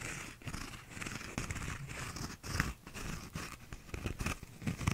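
Fingernails scratch the textured outside of a small, hollow, empty paper cup with a cardboard inner wall and a blue bumpy plastic outer sleeve. Dry, rasping scratches come in quick irregular bursts, with a hollow low body and a bright hissy edge. Each stroke stops almost at once, with no ring.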